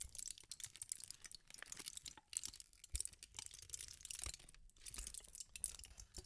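A small wad of aluminium foil sheet is crushed in the palms and fingers, crinkling. Dense, bright crackles and crunches come in quick irregular bursts with brief pauses, over a faint low thump from the handling. The crinkling stays close and dry, with almost no ring after each crackle.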